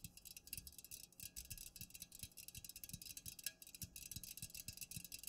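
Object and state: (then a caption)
Full aluminum soda can. A fingernail taps quickly on the sides of an unopened, full Pepsi aluminum can held upright and then tilted in the hand. The result is a rapid run of short, bright metallic ticks, each with a soft low thump beneath it, over a steady high-frequency hiss.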